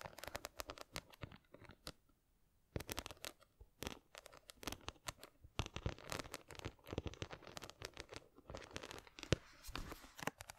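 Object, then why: Small box studded with glass or plastic rhinestones. Long nails scratch across the studded face of a small square box covered in glass or plastic rhinestones, held close to the microphone. Dense, crisp scratching and rapid clicky taps crackle with bright edges, pausing briefly near the two-second mark before resuming in quick, uneven bursts.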